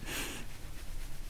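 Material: Nothing is struck.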